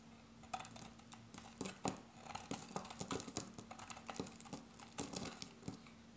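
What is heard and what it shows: A solid grey dry bar of soap, held in the hand, is shaved with a metal box-cutter blade, making a quick series of crisp, dry scraping and crinkling cuts with bright edges. Between the cuts, small soap pieces patter onto a pile of shavings, over a faint steady low hum.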